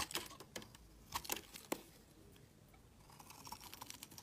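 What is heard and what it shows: A metal utility knife blade shaves a solid pale green bar of soap held in the hand, sending green curls falling onto a woven mat. Quiet, bright, crisp scraping clicks come at an irregular pace, with a few sharper cuts early on and softer, rapid shaving toward the end.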